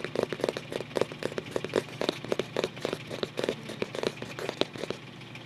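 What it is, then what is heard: Cardboard photo album cover. Fingertips scratch and trace across the printed, paper-covered cardboard front cover of a closed photo album resting tilted on a lap. It makes a quick, uneven series of short, dry, papery scratches centered in the midrange, with a faint steady low hum beneath. The scratching grows softer toward the end.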